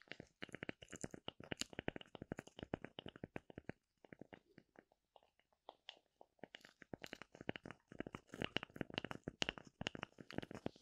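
Long nails scratch and tap the cut face of a thin, oval, light wood slice with a bark rim, held in the hand. Dense, quick, dry ticks and scratchy clicks with a bright edge and no ring thin out to sparse, soft taps in the middle, then pick back up into a rapid, busy run.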